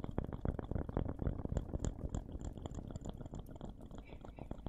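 A small, round, solid wooden slice or coaster engraved with a name is held in both hands close to the microphones and tapped and scratched with fingertips and nails. Rapid, fairly steady soft taps give dull, low, woody thuds that die away almost instantly, mixed with light scratching and faint bright ticks.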